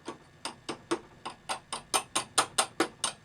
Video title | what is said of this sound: Unboxing the New RC4wd Desert Runner ARTR Scale Ford Raptor RC Truck! This thing is SWEET! | It's a very weird metal, but it's metal.